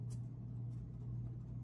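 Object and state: Nothing is struck.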